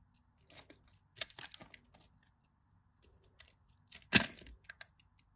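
A craft knife blade scrapes across and cuts cubes from the scored surface of a solid, dry, cream-colored bar of soap resting over a blue mat. Short, bright, crisp scraping and crackling bursts come in quick clusters, with the loudest sharp crack near the end.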